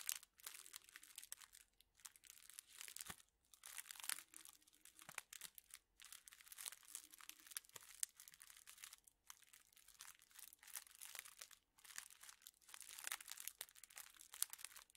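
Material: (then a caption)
Thin plastic. A hand-sized bundle of straws in clear plastic wrappers is squeezed and crinkled with fingertips and nails. It makes quiet, bright, dense crinkling and crackling in bursts, with a few brief pauses and almost no low end.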